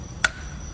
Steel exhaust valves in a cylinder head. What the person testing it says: ถ้าเกิดใครทำฝาบอยตบมาดูก็จะพอรู้แล้วว่ามัน โอเคไม่โอเค